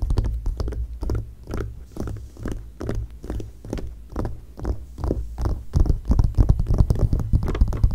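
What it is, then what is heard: Glossy paper magazine. Long painted nails tap and scratch across the pages of an open glossy magazine lying flat on a dark blanket. The taps are soft, dull, and muffled, landing in a quick, uneven rhythm with brief scratchy strokes between them. They grow louder and denser toward the end.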